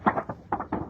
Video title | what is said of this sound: What's New 6/19 | that's a thick paper shake